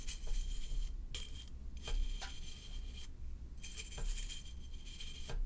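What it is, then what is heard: Aluminium can being brushed. A hollow silver aluminum can or bottle, held on its side, is brushed along its surface with a flat bristle paint brush with a red handle. Repeated bright, scratchy swishes carry a faint metallic ring over a steady low hum.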